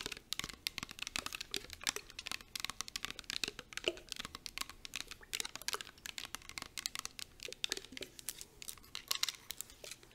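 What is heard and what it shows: A clear plastic body mist bottle filled with liquid is tapped rapidly with long acrylic nails. The result is a dense stream of sharp, bright clicks with very short decay and almost no low end, along with faint crinkly textures.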